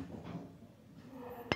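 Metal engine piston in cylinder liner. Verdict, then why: Loose. A worn metal motorcycle engine piston sits loose in its cylinder liner and is knocked on the side aligned with its valve recess, giving one sharp metallic clink near the end over low background rumble. The loose play means the cylinder must be bored to oversize.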